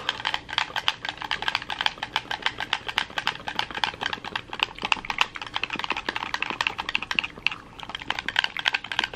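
A red hollow plastic gamepad is held in both hands while thumbs and fingertips mash its buttons and triggers. The result is a rapid, steady stream of dozens of sharp, dry, bright plastic clicks with almost no low end, pausing briefly near the 7.5-second mark.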